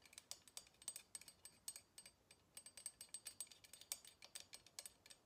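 Long fingernails tap the wooden handles and arms of long kitchen tongs with black plastic ends, held in both hands. A quiet, uneven run of around 36 crisp, bright clicks plays out, each dying away almost instantly with a faint high ring. There is almost no low end.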